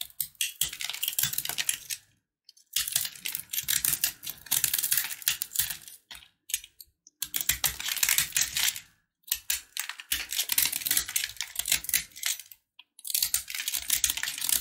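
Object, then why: Sugar-coated peanut candy bar. A blue box-cutter blade scrapes and carves into a hand-sized, solid, crunchy bar of red and white sugar-coated peanuts held in the fingers, sending crumbs onto a dark surface. Dense, bright, crisp crackling and scratchy clicks come in bursts separated by short silences, with almost no low end and very short decays.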